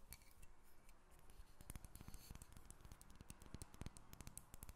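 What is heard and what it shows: A solid carved wooden dolphin figurine about a hand's length, held above a table, is tapped and scratched across its surface with long red nails. Quick, dry, clicky taps come in rapid, uneven bursts over a soft, continuous scratching rustle, each tap dying away almost instantly.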